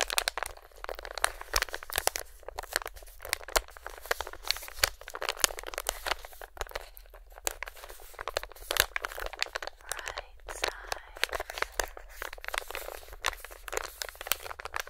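A hand-sized, filled Feline Greenies plastic/foil-lined cat treat pouch is held close and crinkled with fingertips. A dense, continuous stream of sharp, bright crinkles and crunches runs for the full fifteen seconds, with a faint low rumble underneath.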